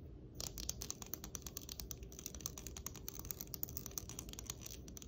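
Long acrylic nails scratch and strum along the teeth of a long, hard, black plastic hair comb that is solid and flat. After a brief quiet start, a rapid, steady stream of crisp, bright ticking clicks runs over a soft low rumble, each click dying away almost instantly.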